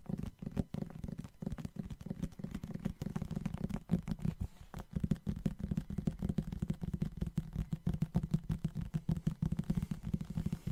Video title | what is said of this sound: My First ASMR Video! Ramble About Manga + Book Tapping 📕🎧 | I think will have really nice sounds as it is hard back